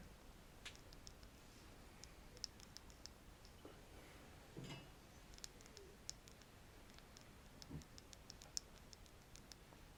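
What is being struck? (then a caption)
Wooden stick. A wooden stick is scratched and tapped close to the microphone, giving quiet, light clicks and dry ticks that ring high and bright and stop almost instantly. A few brief, soft scratching rubs mix in among the scattered taps over a low, steady background hiss.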